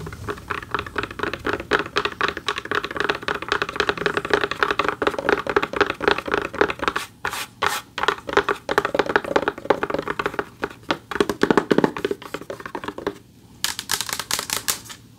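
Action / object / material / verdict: tap / textured back of a large flat award plaque / unknown / none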